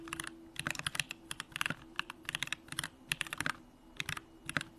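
Fingertips type continuously on a Bakeneko65, a 65% mechanical keyboard with a hollow aluminum case, Durock lavender switches and pink plastic keycaps. Bright, crisp clacks come in quick, uneven bursts, each one dying away almost instantly over a faint steady low hum.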